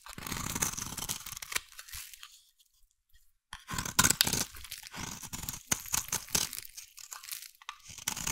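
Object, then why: Bar soap scraped with a metal blade. A metal blade scrapes a solid, hand-sized brown bar of soap, shaving off curls. The scraping is bright and crunchy, with dense tearing strokes, a brief near-silent pause in the middle, then more crisp, crackling scrapes.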